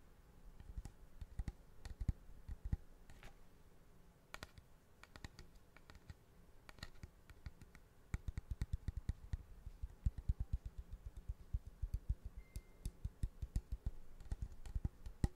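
A large, curved, hollow polished cattle horn with a streaked surface, held upright, is tapped quickly with fingertips and nails. The result is a quiet stream of short, dull, low clicks with almost no ring, with sparser taps at first and faster, louder tapping from about halfway through.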